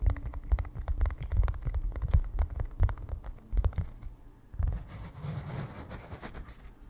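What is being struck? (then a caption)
Canvas stretched on a wooden frame. A small white painter's canvas, stretched on a wooden frame with a hollow back and held in both hands, is tapped and scratched with fingertips on its front and edges. Quick, soft, hollow thumps with a low, drum-like resonance come first, then give way to a quieter, rougher scratching texture in the second half.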